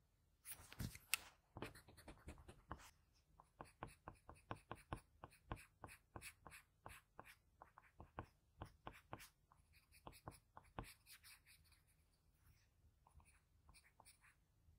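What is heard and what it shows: A blue-barrel graphite pencil scratches fine shading strokes near the eye of a drawing on a flat sheet of drawing paper. It makes a quiet, rapid series of short, dry, bright scratches with a faint low hum underneath. The strokes are heaviest early on and grow softer and sparser toward the end.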